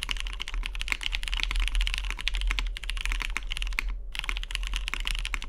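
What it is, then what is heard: Mechanical keyboard with aluminium case. Fingertips type fast on a tenkeyless Matrix 2.0OG mechanical keyboard with lubed vintage MX Brown switches, a hollow cyan anodized aluminium case and cream dye-sub plastic keycaps, resting on a deskmat. A dense stream of short, bright clacks runs steadily with a brief pause near the four-second mark, over a constant low hum.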